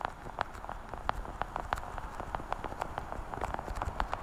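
A small translucent blue plastic weekly pill organizer with hollow compartments is held sideways in front of the mic and tapped and scratched with long painted nails. The result is a quick, uneven run of short, dry, hollow clicks centred around 850 Hz, each dying away almost instantly over a faint low rumble.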